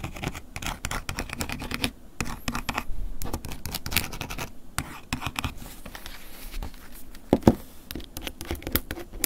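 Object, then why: Plastic flip phone casing. A wooden ear pick scratches the top edge and casing of a closed silver plastic flip phone lying on a table. Quick, dry scratching strokes follow one another in steady bursts, each a short bright rasp over a low body. A couple of sharper, louder scrapes stand out near the end.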